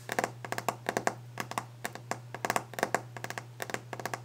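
Long orange-painted fingernails of both hands tap fast and aggressively on a large, solid, varnished wooden desk top, giving about 23 sharp, dry clicks with a woody ring around 700 Hz and a bright tick. Each tap dies away almost at once over a steady low hum.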